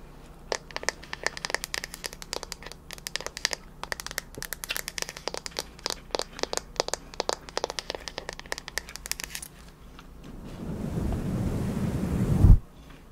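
Long nails tap rapidly and irregularly on the solid wooden back of a bamboo paddle hairbrush held near the face, producing crisp, dry clicks for about nine seconds. The tapping then gives way to a louder, rougher scratching across the wooden back that swells and ends in a sharp knock before cutting off.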